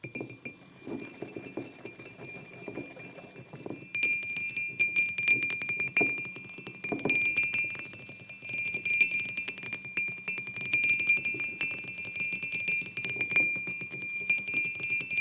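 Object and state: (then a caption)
Ceramic mug. Fingertips and short nails tap and scratch the sides of a white glazed ceramic mug with a printed design, resting on a wooden table. Rapid, irregular light clinks carry a bright ring near 2.4 kHz that fades almost at once, over soft scratchy rustling. The tapping starts quiet and grows louder and denser after about four seconds.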